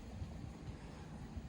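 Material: Nothing is struck.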